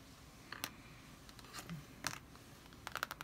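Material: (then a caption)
Cardboard. A green pencil point traces and scratches across the glossy laminated cardboard cover of a large, closed D&D Player's Handbook, a solid hardcover lying flat on a wooden table. The long red-nailed fingers of the other hand rest on and touch the cover. Quiet, dry scratching is broken by short, sharp clicks and taps, bunching into a quick cluster at the end.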